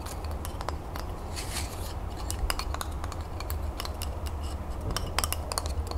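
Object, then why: Bundle of wooden twig colored pencils. Long nails rapidly tap the flat wooden ends of a bundle of about a dozen twig colored pencils held end-on. The result is a fast, irregular stream of short, dry, bright clicks over a steady low hum.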